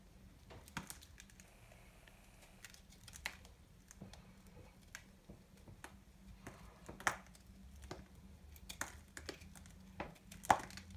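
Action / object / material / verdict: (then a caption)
scrape / bar soap cut with a small knife / soap / none. A solid, dry pastel bar-soap ball is held in the fingers and shaved with a small knife blade into crumbly chips. Quiet, irregular dry scraping and crisp crumbling ticks are heard, with a few sharper bright cuts standing out against a low steady hum.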